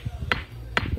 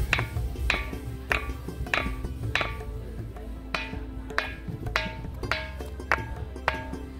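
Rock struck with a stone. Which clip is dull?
The first.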